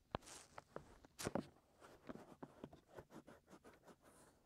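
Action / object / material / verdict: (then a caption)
scrape / silicone ear of a binaural microphone / silicone / none. Fingers with short nails scratch at the outer rim and into the openings of the soft white silicone ears on a 3Dio binaural microphone. About a dozen short, dry, close scratches and rubs follow one another, with a few sharper bright strokes near the start. Each one dies away almost at once.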